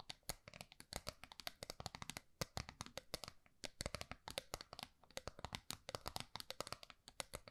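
Long nails rapidly tap and scratch the face and edge of a small, round, gold metal tin held upright. The result is a quiet, dense stream of sharp, bright clicks with almost no ring, over a soft scratchy rustle.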